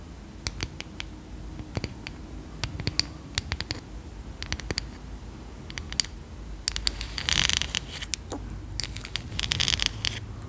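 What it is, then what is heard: Wooden bristle brush. Long acrylic nails tap the solid light wooden back of a hand-sized brush with dark boar bristles, making sharp, dry, bright clicks spaced through the first several seconds. Later the nails scratch across the bristles in denser, hissing bursts, mixed with more taps.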